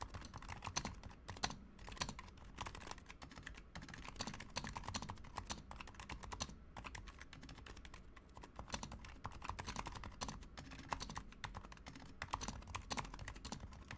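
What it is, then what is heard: Plastic mechanical keyboard, fast typing. Fast fingertip typing with both hands on a Razer Huntsman Mini, a compact 60% mechanical keyboard with a white plastic case, white plastic keycaps, lubed silent switches and orange backlight. A steady, dense stream of quick, muted clacks with a soft low body plays throughout. Each keystroke dies away almost at once.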